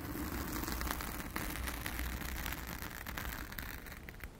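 Long acrylic nails on both hands scratch a blue foam windscreen covering a round studio microphone. The result is a dense, continuous scratchy rustle with a strong low rumble and crackling texture across the highs, fading slightly at the end.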